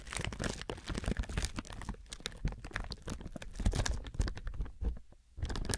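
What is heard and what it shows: Fingertips squeeze and crinkle thin clear plastic film wrapped around a binaural microphone. The result is a dense stream of sharp, bright crackles over heavy low rumbling thumps from the handling. It briefly thins out near the end, then comes back loud.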